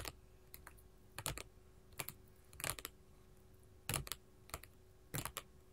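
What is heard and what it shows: Long gold metal filigree finger claws tap a flat, solid sheet of small colored glass mosaic tiles lying on a table. Quick clusters of sharp, bright, clicky taps with a little low thump come at irregular intervals. Each tap dies away almost at once over a quiet, steady background hum.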